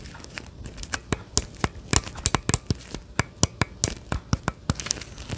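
Gloved fingertips tap and scratch the surface of a hollow plastic Nintendo Switch Joy-Con grip holding the controllers, held steadily upright. A rapid, irregular run of sharp, dry plastic taps stands out over a soft, crinkly scratching texture. Each tap is bright and dies away instantly, with no ring.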